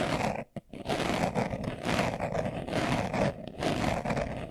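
A small, hollow brown pebbled-leather glasses case is held in the hands while fingernails scratch quickly across its surface. The result is a dense, raspy scratching in overlapping bursts, broken by a brief near-silent gap early on before the continuous rubbing resumes.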